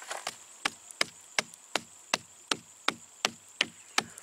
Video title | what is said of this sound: Cathedral Termite Mounds Nothern Australia | when I tap on this side you'll hear how hollow it is